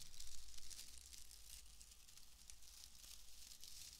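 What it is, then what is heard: Dry wood wool bundle being crinkled. A loose, fist-sized bundle of dry, springy, pale wood wool (excelsior) strands is squeezed and crinkled with both hands close to the mic. It gives a continuous, bright, crisp crackle and rustle that swells and eases with each squeeze, over a steady low hum.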